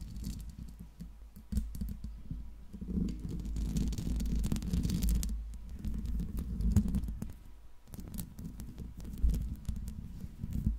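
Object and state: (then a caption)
Metal microphone grille. Long pink nails scratch and tap the metal mesh grille of a silver Blue Yeti microphone. The result is a dense, irregular patter of soft, muffled thumps and scratches, heavy in low, boomy rumble with short clicky transients. It swells louder in the middle and again near the end.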